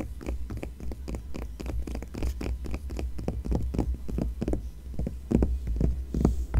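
A palm and long nails rub and scratch across the coated paper page of an open glossy magazine showing a Seabourn ad. Quick, irregular scratchy strokes and soft brushing swishes follow one another closely over a steady low hum.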